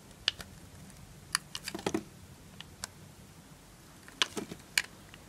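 A knife blade slices pieces off a green and white striped solid bar of dry soap held in the fingers. About a dozen sharp, crisp, bright cracks and crunches come in scattered bursts, each dying away almost instantly over a quiet background.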